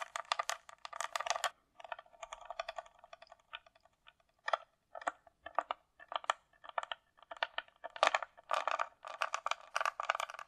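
A closed, hollow hard-shell glasses case with a glossy coated shell, likely plastic, is tapped and scratched along its sides with long nails. Quick clusters of dry, clicky taps centered in the midrange alternate with softer, scratchy stretches. There is no low end, and each tap dies away almost at once.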